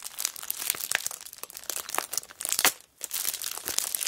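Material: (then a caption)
Cellophane. Fingers with long nails crinkle and press the cellophane wrap on a kraft paper notebook, first held and then laid flat. Dense, bright crackling and crinkling fills the clip, with brief sharp snaps and a short near-silent pause just before the three-second mark.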